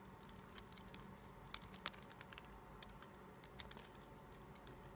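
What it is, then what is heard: Bar of soap being shaved with a blade. A red-handled utility-knife blade scrapes and shaves flakes off a solid white bar of soap, carved down to a narrow stick and held in the fingers. Quiet, dry, fine scratching and patter continue throughout, broken by a few brief, sharp, bright ticks as flakes come away.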